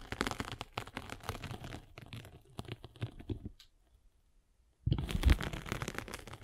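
A metal-spiked derma roller is rolled across the abrasive face of a palm-sized solid abrasive foam sanding sponge block, producing dense, gritty crackling and scratching with a heavy low rumble. The rolling thins out and pauses into near silence for about a second, then resumes more loudly with rough, crunchy scraping.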